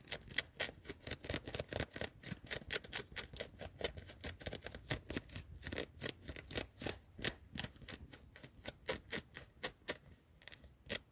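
Long nails rapidly scratch and rub the sleeve of a worn yellow knit cotton hoodie with a ribbed cuff and label, in a car. Quick, uneven strokes of dry, bright fabric scratching come about four times per second, with most of the energy in the upper range and little low end.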